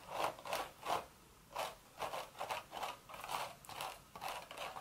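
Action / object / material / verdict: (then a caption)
scrape / woven straw hat / straw / none. Long red nails scratch the hollow woven crown of a cream straw hat in a series of short, dry, scratchy strokes. Each rasping burst has a papery midrange body with a bright, crisp edge and almost no low end, with brief quiet gaps between strokes.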